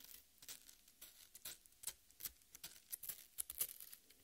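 Long red nails scratch and tear into the soft, wet red flesh of a half watermelon resting on a plate. The result is a quiet run of short, bright, wet crackling and tearing bursts with almost no low end, each dying away almost instantly.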